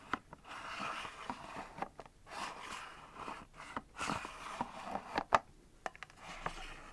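Long nails tap and scratch the clear fronts of a small, hollow, mostly empty white and clear plastic multi-drawer organizer. Soft, dry scraping swells and fades, broken by sharp, short plastic clicks with a hollow, mid-pitched ring that dies almost at once.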